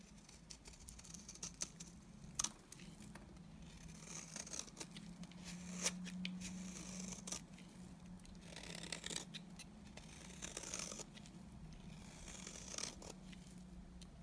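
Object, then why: Oval bar of soap scraped with a blade. A utility knife blade scrapes shavings off the face of a solid, dry, beige oval bar of soap held in the hand. The result is a quiet series of crisp, bright scraping and shaving strokes with sharper clicks, over a steady low hum.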